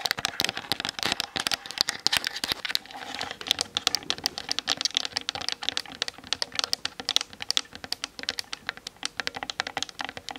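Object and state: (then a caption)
Plastic camera body tapped with nails. Long nails rapidly tap the sides of the hollow plastic body of a Canon DSLR mounted on a tripod, recorded by the camera's built-in mic. The result is a fast, continuous stream of sharp, bright clicks that stop almost instantly, centered around 3.5 kHz with almost no low end.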